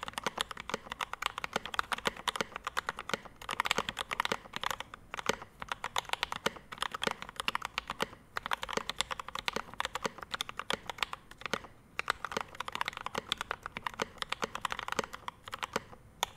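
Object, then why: Mechanical keyboard with ABS keycaps, brass plate and metal case. A Rama M65-B 65% mechanical keyboard with a dark metal case, ABS keycaps, a PVD brass plate and Mint Panda linear switches sits on a desk mat while both hands type continuously with their fingertips. The result is a steady stream of crisp, short keystroke clacks with a bright upper-mid tone and almost no low end. Each tap dies away instantly, and the typing surges and briefly pauses in uneven bursts.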